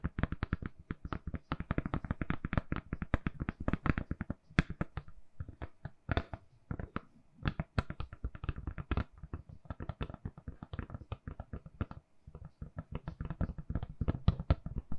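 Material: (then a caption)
Silicone. Long nails tap rapidly on a lilac, silicone-covered phone case fitted on a hand-sized, solid phone. The result is a steady stream of dozens of short, dull, low-weighted clicks with almost no ring, broken by brief pauses before resuming.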